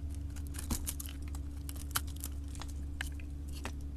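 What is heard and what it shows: A solid orange bar soap with a copper-painted coating is held in the hand and carved and scraped with a utility knife blade, flakes falling off. Quick, dry, crunchy scrapes and crisp cuts with bright edges repeat through the clip, with two sharper snaps standing out. A steady low hum sits underneath.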